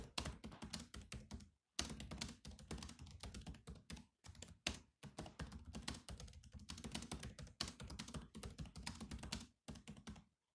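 Fingertips of both hands type fast on the black plastic keys of a grey laptop keyboard. Rapid clicky taps with a low thunk and bright click come in bursts separated by brief pauses, each tap dying away almost instantly.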